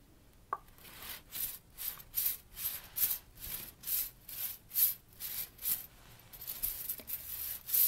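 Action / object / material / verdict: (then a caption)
scrape / steel flow ring toy / steel / none. A kinetic flow ring toy made of many thin, hollow-looking steel strips is held and turned in both hands with long nails close to the microphone. The strips slide and rub against each other in about ten rhythmic swells of bright, hissy metallic rubbing, with light clinks and a couple of sharp ticks.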